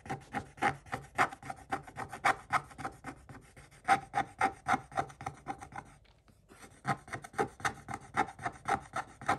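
A pointed wooden stick held in the fingers scratches quickly across the same scratch-art paper page in a spiral notebook. It makes a rapid series of dry, raspy strokes with a faint tonal edge around 785 Hz and bright, hissy texture. The strokes pause briefly near the six-second mark before resuming.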